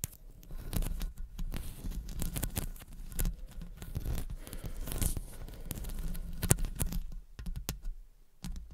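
Long blue acrylic nails tap and scratch the hollow metal mesh grille of a silver condenser microphone, then move down to its metal body. Dense, quick clicks and scratchy rasps follow one another close to the mic, with a deep, boomy low end under each tap and a few sharper, louder taps standing out.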